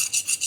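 A 65 Rockwell hardness file is scraped back and forth across a tempered Damascus steel carving knife blade, making short, high-pitched, hissy rasping strokes with almost no low end. The file bites only slightly, showing the steel is hard, between 60 and 65 Rockwell.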